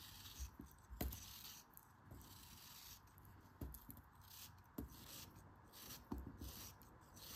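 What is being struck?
Molded kinetic sand shape.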